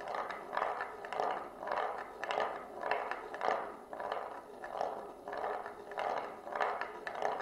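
A single glass marble rolls in circles along the rim groove of a shallow, solid oval wooden plate as the plate is tilted by hand. The result is a continuous, hollow-toned rumbling roll centered in the low mids, which swells and fades in regular waves about every 0.6 seconds as the marble makes each lap.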